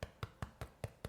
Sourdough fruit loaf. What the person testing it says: Nice and hollow sounding. Yeah, it sounds nice and hollow.